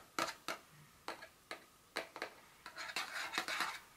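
Very long fingernails tap and scratch the top of a small, hollow, rectangular printed paperboard Dior fragrance box lying flat on a stone surface. Sharp, bright, papery clicks with brief scratchy tails come first, spaced apart with short pauses. Toward the end they crowd into a denser run of rapid tapping and scraping.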